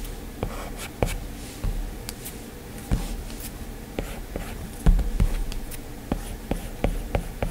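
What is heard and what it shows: A hand draws with a plastic Apple Pencil stylus on the glass screen of a flat, solid iPad. Thirteen short, irregular taps stand out over a soft, continuous scratching of strokes. The sound is dull and low-heavy, with only faint bright ticks on each tap.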